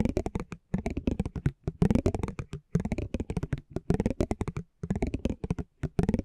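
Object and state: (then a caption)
Cardboard trading card. A metal spiked pinwheel is rolled across the surface of a small, thin cardboard basketball trading card held in the hand. It makes rapid, soft ticking and crackling clicks in bursts separated by brief pauses, dull and low-weighted with quick, dry decays.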